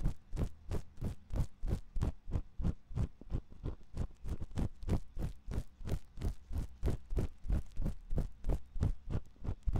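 A thin metal ear pick scratches inside the ear canal of a white silicone ear on a 3Dio binaural microphone. About 33 short, dull, low scraping strokes repeat at a fairly steady pace of roughly three per second, with a deep muffled thump to each and almost no ring.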